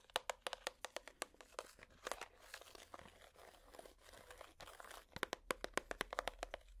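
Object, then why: Clear plastic compartment box. A hollow, clear plastic compartment box held in the hands is tapped with plastic finger picks, giving quick, bright, hollow clicks with a hollow ring. In the middle, the tapping gives way to a softer, continuous scratching rustle before the rapid taps return.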